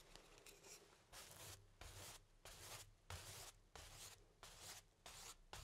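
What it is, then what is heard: Paintbrush strokes on stretched canvas. A paintbrush sweeps black paint across a medium stretched cotton canvas on an easel, thin fabric over a hollow wooden frame. Quiet, bright, papery swishes come in uneven back-and-forth strokes, about one every two-thirds of a second, each with a faint low, hollow thrum from the frame.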